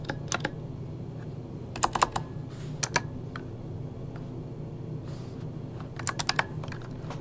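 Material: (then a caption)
Plastic. Fingertips type on an RGB-backlit mechanical keyboard with plastic keycaps, using only one hand at the start. Short, sharp, bright clicks come in quick clusters near the start, around 2 and 3 seconds, and again after 6 seconds, with quieter taps scattered between. A steady low hum runs underneath, and two soft hissy swells appear near 2.7 and 5.3 seconds.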